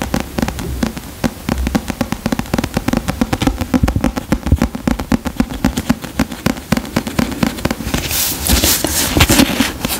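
Fingertips and nails tap and scratch the paper cover of a solid paperback book, held and tilted close to the microphone. A dense run of quick, dry taps with a low thump beneath gives way near the end to brighter, hissier scratching across the cover.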